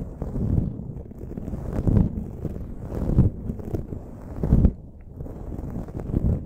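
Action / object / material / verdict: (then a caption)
scrape / foam microphone windscreen / foam / none. Both hands with long, patterned acrylic nails scratch and rub the dark foam windscreen on a silver desktop microphone. The result is a close, muffled, low rumbling scrape that swells and fades in uneven bursts, with almost no high sound.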